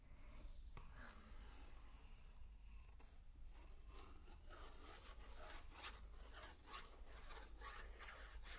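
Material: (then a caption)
Paper. A wooden stick traces across the illustrated paper page of a large open picture book lying on carpet, then fingertips with long painted nails rub flat across the paper. The result is a quiet, steady scratchy rubbing over a low background hum, with brighter repeated swishing strokes in the second half.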